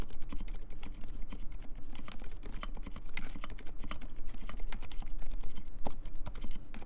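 Fingertips type steadily on a compact mechanical keyboard with silent Dolphin switches, plastic keycaps and a metal case. A dense stream of soft, muted key clicks is heard, with short bright ticks over a low thudding body and little ring after each press.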